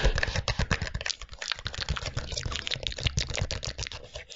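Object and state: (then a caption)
Small cardboard box tapped with nails. A small, hollow white and green cardboard box is turned in the hands and tapped with long nails close to the microphone. A rapid, continuous run of dry, clicky taps with a soft low thump under each, each dying away almost at once.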